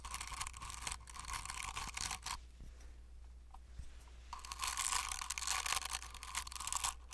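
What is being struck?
Plastic fidget cube with silicone buttons.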